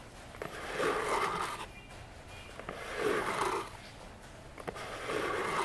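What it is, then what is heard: Cardboard box. Long fingernails tap and scratch the sides of a small, hollow orange cardboard box with a silver logo standing on a table. Sharp light taps alternate with longer swells of dry, rasping scratching that resonate in the low-mid range, giving a papery, hollow sound in a quiet setting.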